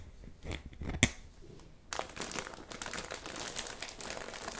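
A clear, thin, medium-size plastic zip bag holding pink rubber gloves lies on dark fabric and is rubbed and pressed with fingertips and palms, then smoothed flat. Soft, quiet handling with one sharp click gives way after about two seconds to a steady, bright crinkling that continues to the end.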